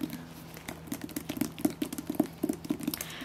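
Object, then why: Hardcover book. Fingers tap on two hardcover books, The Silent Patient and The Guest List, producing a quick, uneven patter of light, dull taps over about three seconds. Each tap is soft and short with almost no ring.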